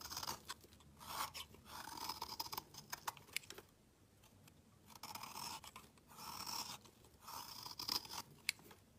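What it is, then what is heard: Black soap bar being shaved. A metal utility knife blade shaves a solid black round bar of soap, curling off fine shavings. Dry, bright scraping and crackling comes in repeated strokes, with quiet pauses between them and a sharp click near the end.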